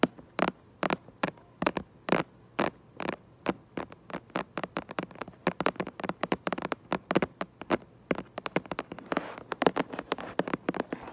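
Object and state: Cardboard box tapped with nails.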